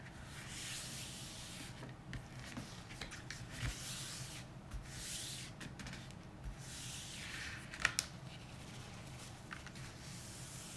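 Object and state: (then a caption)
Glossy paper magazine being rubbed. Bare fingertips rub and slide across the thin glossy printed pages of an open magazine lying flat on a dark wooden table. The result is a quiet, steady papery hiss in slow swells, with faint ticks and a couple of sharper crisp clicks near the end.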